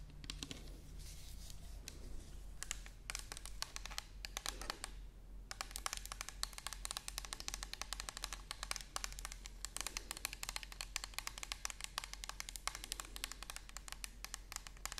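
Long nails tap and scratch along the side of an orange plastic toner bottle with a white cap, held sideways. The result is a fast, continuous stream of light, bright clicks over a steady low hum, with brief pauses and a few crinkly scrapes.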